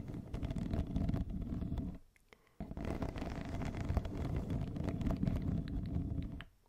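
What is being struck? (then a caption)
Corrugated plastic pop tube. A yellow, hollow, ribbed corrugated plastic pop tube wrapped around a fluffy microphone cover is scratched along its ribs with long nails. It makes a dense, low rumbling rasp of rapid ridged scrapes. The scraping breaks off briefly near the two-second mark, then resumes before fading out at the end.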